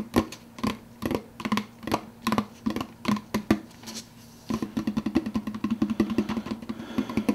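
Fingertips tap the clear plastic lid of an empty, large translucent blue plastic soda cup, making short, hollow, dry clicks with a low resonant tone. The taps start spaced apart, pause briefly, then turn into a faster, continuous patter.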